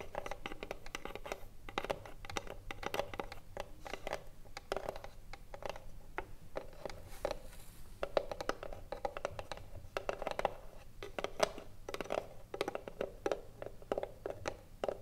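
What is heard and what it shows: A small, hollow, closed rectangular wooden Mini-Tip Filter cigarillo box, held upright on a mirrored surface, is tapped and scratched with the long blue acrylic nails of both hands. The result is a steady stream of quick, dry clicks and scratchy strokes with a hollow, woody knock around 630 Hz. Each hit dies away almost at once.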